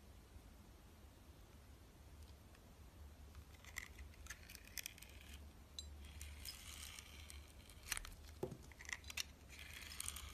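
A solid oval soap bar with a green glitter crust and a yellow core is held in the hand and carved with a utility knife blade. Quiet, crisp scraping and crackling cuts come in bright bursts over a low steady hum. The strokes grow denser and louder toward the end.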